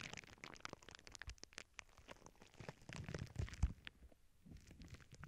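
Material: Plastic.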